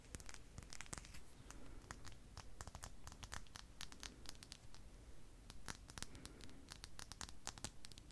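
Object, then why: Solid glass sphere. Long pink nails scratch and tap a palm-sized solid clear glass crystal ball held in the hand. The result is a quick, irregular stream of sharp, bright clicks and scrapes with very short ring, over a low, soft rumble.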